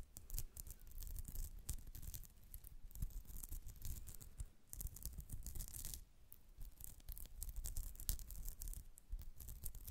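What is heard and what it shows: Long acrylic nails rapidly scratch a white polyester mesh pouch held close to the mic. The result is a dense, continuous scratching with a bright, airy rasp over a low rumble, briefly dipping quieter near the middle before resuming.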